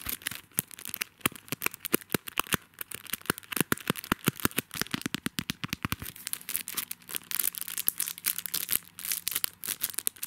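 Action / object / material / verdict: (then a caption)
scrape / paper sticky notes pad in a plastic sleeve / plastic film / none. Fingertips and nails scratch and handle the clear plastic sleeve wrapping a small, flat, butterfly-shaped paper sticky notes pad on a card backing. The result is a rapid stream of bright, dry crackles, crinkles and sharp scratchy ticks that stop almost instantly. A faint low hum sits underneath during the second half.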